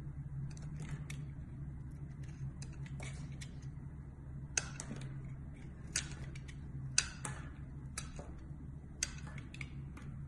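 A solid amber-orange bar of soap is held in the hand and shaved into thin slices with a metal box-cutter blade. Short, crisp, bright scraping cuts with almost no ring stand out over a steady low hum, and a few of the slices land noticeably louder than the rest.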